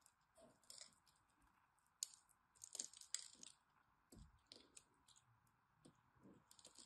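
A blade scrapes small cubes off a solid green bar of soap with a scored grid surface while hands hold the bar. It makes a quiet series of crisp, bright clicks and dry crunching scrapes, with short pauses between, as the cubes break away.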